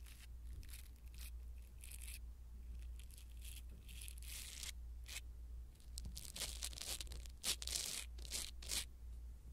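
A blue silicone-bristle ear-cleaning tool brushes and scratches a small black foam windscreen on a clip-on pin microphone mounted on a yellow toy. Soft, bright rustling and tearing-like scrapes come in uneven strokes over a steady low hum, with a few sharper crunches near the end.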